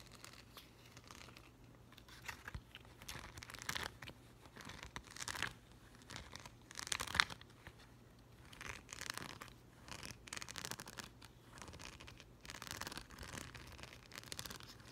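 Short green-painted nails scratch and rake across a thin, flat, hand-sized sheet of small yellow plastic rhinestone stickers held up in the air. Quiet, bright, crinkly scratching comes in repeated bursts separated by near-silence, with a sharper, louder rake around the middle.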